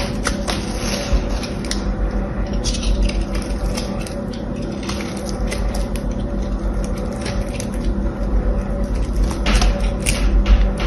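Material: Soap.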